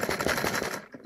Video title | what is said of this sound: ECHO Science & Stories: A Good Day Fishing | sounds like there's some loose parts in there